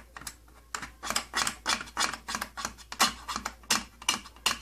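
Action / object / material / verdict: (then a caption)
tap / thin plastic case panel / plastic / none. Fingertips scratch and tap the thin, hollow side panel of an opened, old purple plastic tattoo kit case. Crisp, bright, dry bursts of scratching and tapping come at an uneven pace of a few per second, each dying away almost at once. A faint low hum sits underneath.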